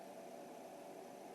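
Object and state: Nothing is struck.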